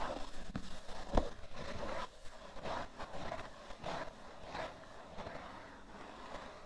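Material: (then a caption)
Cardboard. A cardboard tissue box has fingernails scratching slowly across its top surface, making soft, dry scraping strokes in bursts with a duller, low rumbling body. One sharper tap-like hit stands out near the start. The scratches gradually quieten toward the end.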